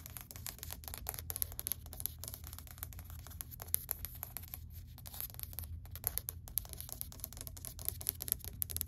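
A flat, solid grey wood-grain laminate plank is tapped rapidly with long white acrylic nails. A steady stream of sharp, clicky taps with bright tops and no ring plays over a low, quiet hum.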